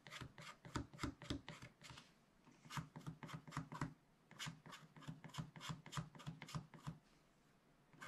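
A wooden stick stylus scratches and rubs away the coating of black scratch paper in a small spiral pad. Rapid, short scraping strokes come in bursts with brief pauses between them. Each stroke has a dry, raspy texture and low body, and the clip ends with a quieter stretch.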